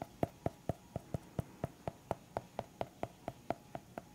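Fingertips tap the cover edge of a small white hardcover notepad with a pen clipped on, held flat. Eighteen soft, evenly spaced taps sound dull and hollow, with a low thump and a woody knock near 670 Hz. Each tap dies away almost instantly, leaving a quiet gap before the next.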